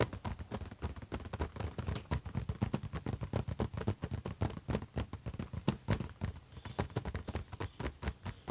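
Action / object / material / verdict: tap / closed laptop lid / unknown / none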